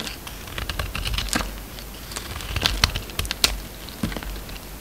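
A steel utility-knife blade cuts and shaves a solid, hand-sized oval red soap bar with a pink core, held in the palm. A rapid run of short, crisp clicks and scrapes follows, each stopping at once, with bright high edges over a low rumble. It sounds much like quick typing.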